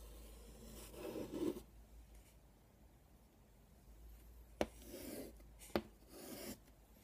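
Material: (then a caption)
Chalk. Fingertips hold a piece of chalk and draw a circle in a tic-tac-toe grid on a flat black chalkboard with a wooden frame. Soft, gritty chalk scratching comes in short bursts, with two sharp taps as the chalk strikes the board, over a faint low hum.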